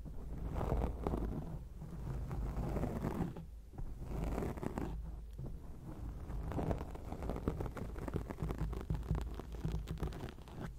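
Long acrylic nails scratch and tap on a round grey foam windscreen covering a microphone. The result is a steady, muffled rustling and scraping with a deep, boomy low rumble, constant dense crackle, and little brightness.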